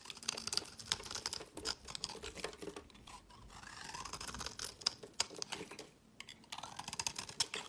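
A solid, square, olive-green hard olive oil soap block held in the hand is shaved into crumbly flakes with a utility knife blade. The clip is full of dry, bright scraping and crisp little cracks, with quick irregular strokes and a brief quieter pause near the middle.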